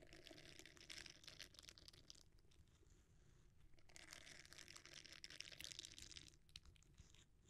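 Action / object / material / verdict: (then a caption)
scrape / silicone bristle scrubber / silicone / none. A red silicone bristle scrubber, bent into a dome, is pressed and rubbed with the fingertips. The result is a quiet, dense, bright crackling and scratching that comes in busy bursts over a steady low rumble.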